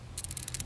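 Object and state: New PCV valve rattling normally when shaken.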